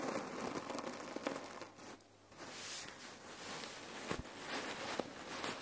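Long nails scratch and tap a red cotton neck pillow filled with cherry pits, then hands squeeze it. The result is a steady gritty, crinkling rustle of shifting pits with bright little clicks and taps, a brief quieter dip partway through, and sharper crunchy pops near the end.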